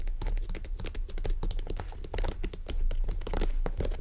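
Long nails scratch and tap along the top and sides of a small black croc-embossed faux leather shoulder bag with metal zipper hardware. The result is a steady stream of quick, dry clicks and scratchy crinkling with bright edges over a low, soft rumble.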